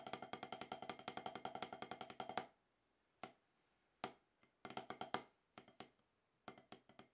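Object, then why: Rubber drum practice pad struck with wooden drumsticks. Two wooden drumsticks with wood tips tap an octagonal HQ drum practice pad, about 12 inches, with a grey gum-rubber top on a solid base, resting on grey cloth. A fast, even run of short, dry, woodblock-like knocks around 750 Hz lasts about two and a half seconds. After a pause, single taps and short quick bursts follow, each dying away almost instantly.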